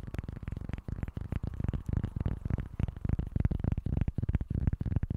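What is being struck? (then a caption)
Small cork board. A small, flat, solid cork board held in both hands is scratched with short nails and tapped with fingertips. The result is a rapid, dense stream of dull, low, woody taps and scrapes that stop dead, with no ring and almost no high or bright content.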